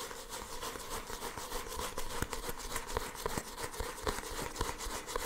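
Fingertips and nails tap and rub the glossy paper cover of a small paperback manga book held close to the microphone. A steady, soft brushing texture runs throughout, with quick, light taps scattered through it.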